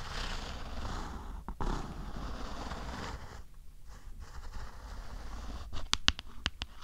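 Long acrylic nails scratch across the textured, carbon-pattern back of a closed black and turquoise New 2DS XL, a small hollow plastic handheld game console, producing a soft, broad rustling scrape. This gives way to five sharp, bright clicking taps that die away almost instantly against the plastic shell.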